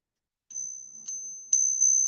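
A known fake American silver eagle coin with a copper core, bought on purpose as a test piece, is pinged four times. Each ping gives a thin, steady high ring that carries between strikes. It sounds the same as a plain piece of copper, marking the coin as fake.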